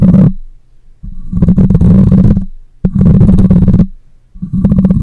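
Long nails and fingertips scratch across the metal mesh grille of a black microphone. The result is loud, low, rumbling scrapes with a fine crackling texture, heard in four bursts separated by short, quieter gaps.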